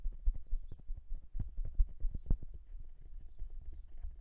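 Fingertips of both hands tap on the metal capsules of a silver dual-capsule microphone. About sixteen quick, uneven taps sound as dull, deep thumps that die away almost instantly, with no brightness.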